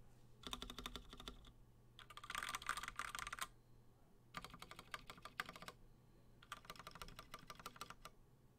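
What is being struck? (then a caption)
Mechanical keyboard with PBT plastic keycaps. A 60% plateless mechanical keyboard with cream and blue PBT plastic keycaps is typed on one key at a time with a single finger. Four bursts of sharp, clacky keystrokes come between short pauses, each click short and bright over a faint low hum.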